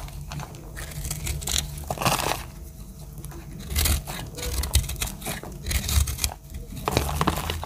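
A metal utility-knife blade scrapes and cuts dry chips from a round, pink, speckled bar of solid soap. Dry, crinkly scraping strokes and crisp crunches come in bursts with bright, papery edges over a steady low rumble, with short pauses between cuts.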